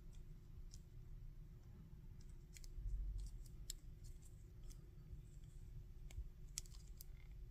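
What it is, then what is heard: Plastic action figure. Fingers tap, scratch and click the articulated joints of a solid plastic Goku action figure, about 15 cm tall, with a removable silver hair piece. Short, bright plastic clicks and taps with very little ring come at irregular moments over a quiet, steady low rumble.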